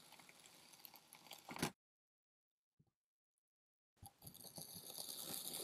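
A hand-held steel Farberware kitchen knife slices down through a palm-sized solid dome of blue and tan kinetic sand resting on a white surface, pressing and cutting the soft, dense sand. Crisp, bright, granular crunching and crackling swells to a sharp peak, then cuts to near silence with a faint tick. The gritty slicing then resumes and builds steadily.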